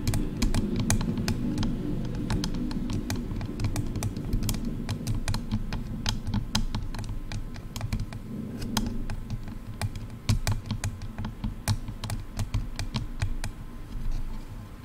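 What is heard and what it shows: Long nails tap and scratch the outer shells of hollow, silver plastic over-ear headphone earcups on both sides. Quick, sharp, bright clicking taps sound over a steady low, dull rubbing of scratching, with each tap dying away almost at once.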